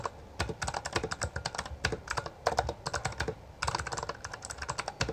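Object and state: Plastic mechanical keyboard.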